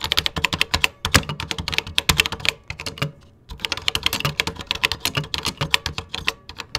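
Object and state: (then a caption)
Plastic computer keyboard being typed on. Fingertips type rapidly on a vintage 1980s plastic computer keyboard with cream plastic keycaps, producing a dense run of bright, sharp key clicks with a faint low thud beneath each press. The clicks stop almost instantly, and the typing pauses briefly around the middle before resuming at a steady pace.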